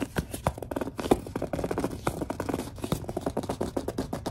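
A large, hollow, white plastic Suave lotion bottle is gripped and tapped with long dark nails. The result is a rapid, steady run of short, dry taps and squeaky grip sounds with a hollow mid-low tone that dies away almost instantly.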